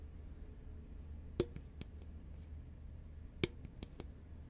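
A hollow green Pringles can, a paperboard tube with a metal base and foil-lined lid, is held horizontally and tapped with long nails and fingertips. Sharp, dry clicks with a faint hollow knock around 355 Hz come in two loose clusters, each led by one louder tap, over a quiet low hum. Each tap dies away almost instantly.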